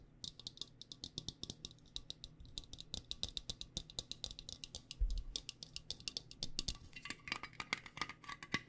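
Long nails tap rapidly and steadily on a small, round, printed metal tin of the Spot it! card game that holds its cards. Dozens of quick, bright clicks with a thin metallic tick die away almost instantly, with a slightly heavier knock around the middle.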